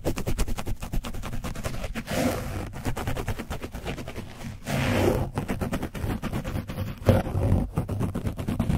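A foam paint brush is scrubbed along the sides and top of an orange foam microphone windscreen coated with dried paint. The result is a dense, rough, low scratching rumble that sounds almost like a growl, with rapid crackling strokes and brief louder, breathier swells.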